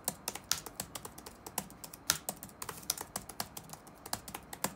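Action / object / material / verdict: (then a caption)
tap / plastic laptop keyboard / plastic / none. Fingertips type rapidly on the black plastic keys of an open laptop resting on a wooden desk. Bright, short clicks follow one another with uneven spacing and occasional louder strikes. Each tap dies away almost instantly.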